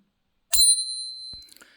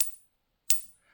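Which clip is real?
The first.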